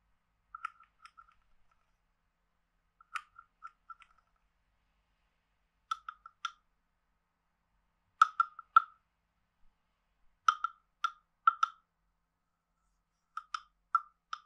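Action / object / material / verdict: tap / carved wooden frog guiro played with a wooden stick / wood / none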